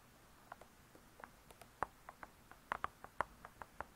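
Long pointed nails tap on the hard cardboard front cover of a spiral-bound hardcover cookbook, making 15 quiet, dry clicks at an uneven pace. Each tap is short with no ring, centered around 1 kHz against near silence.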